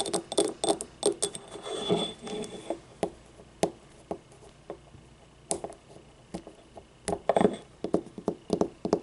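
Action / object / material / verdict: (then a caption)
tap / small ribbed ceramic cup / ceramic / none. A small, empty, hollow yellow ribbed ceramic paint cup is tapped with long nails, then picked up and tilted. Quick, dry clicks come in uneven clusters over a low ringing tone, with a brief rough scraping stretch early on. Each click dies away almost at once.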